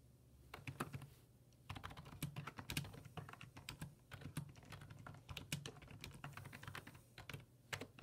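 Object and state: Plastic computer keyboard.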